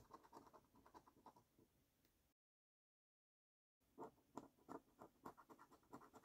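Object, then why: Paper scratch card with latex coating, scratched by a coin. A copper-coloured coin scrapes the latex coating off a flat, thin cardboard £15 National Lottery "Luxury Lines" paper scratch card in quick, uneven strokes. The scratching is dry and raspy, mostly in the mid range. It stops for about a second and a half of silence, then resumes with louder, sharper strokes.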